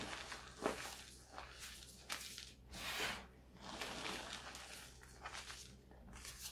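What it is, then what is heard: Gym chalk crumbled by hand. Two hands with long metallic-painted nails scoop, squeeze and rub handfuls of loose blue-tinted gym chalk, both reformed and fresh, between the fingers and palms, crumbling the soft powdery chunks. The result is a series of quiet, bright, crunchy rustles and gritty crumbling bursts that swell and fade with each squeeze, with little low-end weight.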